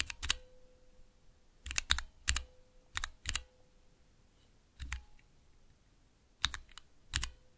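Fingertips press and tap the keys of a small 3x3 switch tester, with clear plastic keycaps on Cherry MX switches set in a clear plastic base, resting on dark velvet. Sharp, bright plastic clicks and clacks come in quick pairs and short clusters, separated by pauses, over a faint steady tone.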